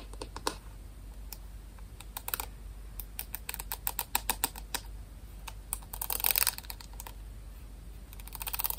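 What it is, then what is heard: Plastic paddle hairbrush. Fingernails tap and scratch the back and pin bristles of a white plastic paddle hairbrush. Quick, dry, bright clicks come in an irregular stream, with denser scratchy bursts around the six-second mark and again at the end, over a faint steady low hum.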